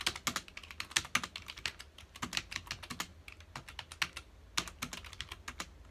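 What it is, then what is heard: Plastic computer keyboard being typed on. The fingertips of both hands rapidly press the keys of a full-size black plastic computer keyboard resting on a dark desk. About 38 quick typing taps are heard as crisp, bright clicks. Each click dies away almost instantly and carries very little low-end weight.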